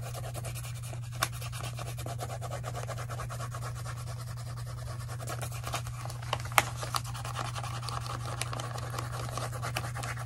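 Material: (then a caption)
Paper. A white paper notepad, a solid stack of sheets, is held upright in one hand while the other hand colors on it with a colored pencil or crayon in fast back-and-forth strokes. The result is a continuous, scratchy rubbing of pigment on paper over a steady low hum, with a few sharper ticks standing out.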